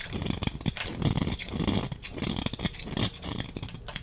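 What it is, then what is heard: Glycerin soap bar being shaved. A utility knife blade shaves thin flakes off the surface of a hand-sized, solid green translucent glycerin soap bar held in one hand. Repeated short, dry scraping and cutting strokes sound in a steady rhythm, with a soft low body and crisp bright edges that stop almost instantly.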